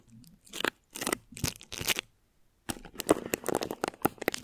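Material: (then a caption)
Plastic film. Long nails of both hands scratch thin plastic wrap stretched over a microphone head, producing dry, bright crinkling and crunching scrapes in quick bursts. A brief silent pause falls midway before a denser run of sharp, close scratches.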